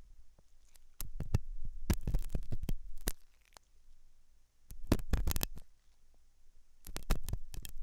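A thin hooked metal dental tool scratches inside the ear canal of a white silicone dummy ear on a binaural microphone, which is soft and solid-looking. It makes close, deep scraping and thumping sounds in irregular bursts, with short bright clicks. Quieter gaps fall between the bursts.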